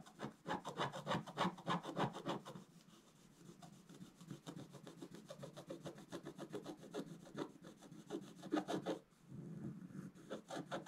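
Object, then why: Coated scratch-art paper card scratched with a wooden stylus. A wooden stylus scratches quick vertical strokes across a flat, black-coated scratch-art paper card, making a steady run of dry, rasping scrapes at about three per second. The scratching is louder for the first couple of seconds, softens through the middle, grows stronger again near the end, then stops briefly before resuming.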